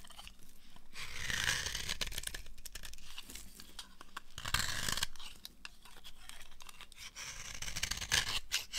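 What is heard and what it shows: A knife blade shaves the edge of a dry, solid, translucent amber soap bar held in the hand. Dense, crunchy scraping and tearing sounds with a bright, hissy top and a low rumble underneath run throughout. Louder, fuller strokes rise near the middle and a few sharp crisp peaks come near the end.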